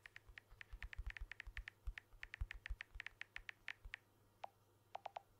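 Fingertips and short nails tap the glass back and aluminium edges of a blue smartphone, which is held upright in one hand close to the mic. A quick, irregular run of short, crisp clicks gives way to a brief pause, then a few lower, duller taps. Each tap dies almost instantly over a faint low hum.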